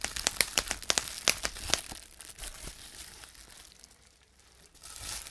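Clear plastic bubble wrap is squeezed and crumpled in the hands, its air bubbles popping under the fingers. A quick, irregular run of sharp, bright pops fills the first two seconds, then gives way to softer crinkling that fades before a faint rustle returns at the end.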